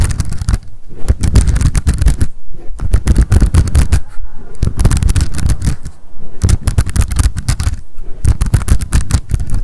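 Long decorated acrylic nails tap and scratch rapidly on a small pink m.memo spiral-bound paper notebook with a card cover, held in the hands. Quick, dry, low-heavy clicks and scrapes come in dense bursts with brief pauses, each tap dying away almost instantly.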